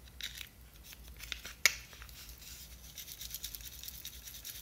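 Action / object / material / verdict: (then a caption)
scrape / small plastic jar / plastic / none. Long nails tap the white lid and scratch the sides of a small clear plastic jar with a blue label, full of glitter. Soft, bright scratching and rubbing run throughout, broken by a few light ticks and one sharp, short tap near the middle, over a faint low hum.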